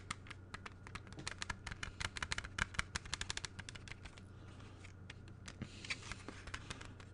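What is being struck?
Plastic CD jewel case.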